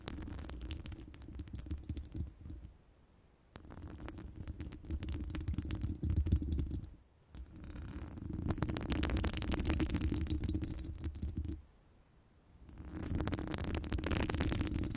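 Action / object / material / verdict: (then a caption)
scrape / metal wire mesh microphone grille / metal mesh / none. Long pointed nails scratch and tap both sides of a round, hollow metal wire mesh microphone grille. The result is dense, rapid scratching and tapping with a deep rumbling low end and a bright, gritty upper edge. It comes in three stretches separated by short pauses of near silence.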